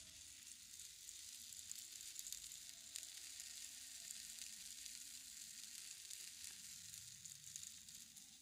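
A single large green bamboo rainstick, a long hollow tube with visible nodes filled with loose material, is held upright in both hands and slowly tilted so the filling trickles inside. It makes a steady, quiet, bright hissing patter like falling rain, with tiny crackling grains running continuously throughout.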